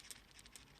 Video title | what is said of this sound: New Fake Fidget Cubes - 2 size Twin Pack & anticipated 'MICRO' Fidget unbox & compare | everything's nicely fitted together, there's no gaps, nothing moves about when you shake it. The buttons rattle a little bit, but that's normal on these ones.